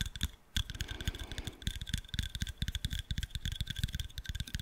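Fingernails tap and scratch the dark lenses and thin metal frame of round sunglasses. Quick, dry clicks patter in an uneven stream, with a brief soft scratching passage near the middle. Each tap stops almost at once, with a faint thin metallic tone above the clicks.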